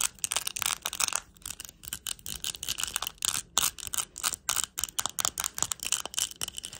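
Long acrylic nails tap and scratch a small round hand-held plastic compact covered in purple, green and clear plastic rhinestones. The result is a rapid string of short, bright clicks and ticks, with quick scratchy rasps between them. Each one dies away almost at once, with hardly any low end.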